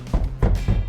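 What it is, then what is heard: Properly fitted car door, dull solid thud. Three knocks on a properly fitted steel car door of a Honda Accord Hybrid, used as the reference for how a sound door should respond. Each knock gives a dull, solid, low thud that dies away quickly. The sound is normal.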